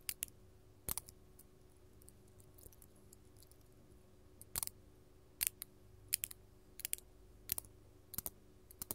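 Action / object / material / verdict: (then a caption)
tap / faceted glass crystal tapped with metal finger claws / glass / none. A large, solid, faceted purple artificial glass crystal held in the hand is tapped with long gold metal filigree finger-claw jewelry. Sharp, bright clicks come sparsely at first, then in quick pairs every half-second or so, each one dry and very short with almost no ring. A faint low hum sits underneath.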